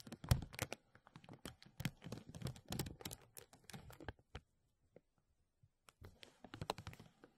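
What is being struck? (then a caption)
Thin plastic bag. A thin translucent plastic bag draped over a mesh microphone is pinched by fingertips and then rubbed with both hands, producing dense, close crackling crinkles with a heavy low-end thump. The crinkling runs for about four seconds, thins to a few scattered soft ticks, then picks up again near the end.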